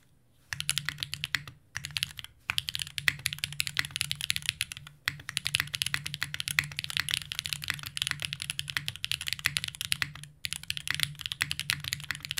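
A compact green-cased Unikorn R2.1 mechanical keyboard with GMK plastic keycaps and an aluminum plate, resting on a desk mat, is typed on steadily with both hands. Rapid, bright key clacks run continuously with a faint low hum beneath, broken only by a few brief pauses.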